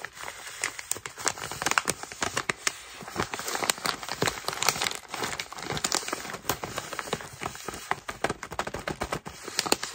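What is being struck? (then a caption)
Foil-lined plastic snack bag. A hand-sized yellow Huligan pretzel crush chip bag made of foil-lined plastic film and filled with snacks is held in both hands and crinkled and squeezed with the fingertips. Dense, bright crackling crinkles come in rapid sharp bursts with almost no low end, each snap cutting off instantly. The rustling runs continuously, swelling and easing as the bag is worked.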